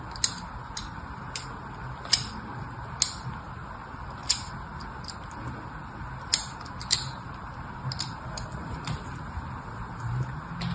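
A thin pin scratches grooves into a solid red bar of soap with a crosshatched carved surface, held in both hands. Sharp, bright scratching ticks come at irregular intervals, with a few louder ones standing out, over a steady low background hiss.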